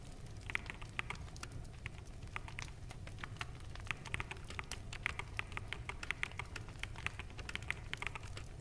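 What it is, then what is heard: Plastic mechanical keyboard being typed on. Fingertips of both hands type steadily on a full-size black mechanical keyboard with plastic keycaps. Quick, dry clacks with bright clicks around 2 kHz stop almost instantly, over a constant low background hum.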